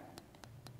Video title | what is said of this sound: Tranh gỗ điêu khắc thủ công, tranh gỗ Bùi Gia đục tay cao cấp: Tam đa bằng phôi gốc trắc | thì cái tiếng kêu nó rất là đanh giống như là mình gõ vào đá vậy đó